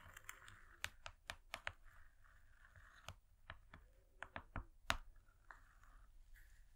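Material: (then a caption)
Cardboard. Long fingernails on both hands tap a thin, flat, rectangular gold foil laminated cardboard cake board lying on velvet. About fifteen sharp, dry clicks sound in irregular bursts, with soft scratchy rustling between them. Each tap dies away almost instantly, and the whole clip stays quiet.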